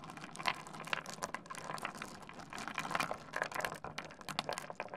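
Fingertips dig into, rub and shuffle a heap of small solid stone pebbles on a wooden desk, clicking the stones together. The result is a steady, dense stream of bright, dry clicks and gritty rattles with a faint ringing tone near 1 kHz. The clicks are short and die away almost instantly, with louder clicks popping out every so often.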